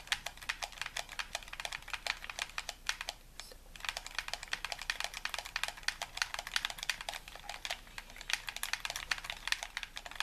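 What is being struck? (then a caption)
Plastic game controller. A hollow white plastic gamepad is held in both hands while thumbs and fingertips rapidly tap and click its buttons. The result is a dense stream of short, dry, bright plastic clicks with almost no ring, pausing briefly a little past the three-second mark before resuming at the same quick pace.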